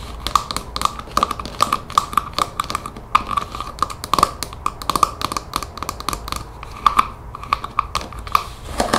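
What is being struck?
Plastic spray bottle trigger head.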